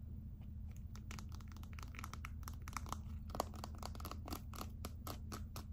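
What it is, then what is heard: Glitter plastic phone case. Long acrylic nails scratch and tap the glittery back of a gold glitter clear plastic phone case held in one hand. Quick, dry clicks and crackly scratches come in a dense, uneven stream, each one short and bright. A steady low hum runs underneath throughout.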